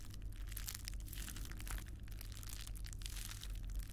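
A small, hand-sized sheet of clear plastic bubble wrap with air-filled bubbles is squeezed, crinkled and popped between the fingertips of both hands close to the microphone. Dense, bright crackling and sharp little pops run continuously over a steady low hum.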